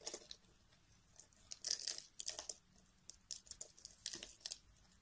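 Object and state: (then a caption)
Bar of soap being carved. A metal carving blade scrapes thin slices and crumbs off the edge of a solid beige bar of soap held in a hand with long nails. Quiet, crisp, bright scraping and crunching bursts come in quick irregular clusters with almost no low end, each one dying away almost instantly.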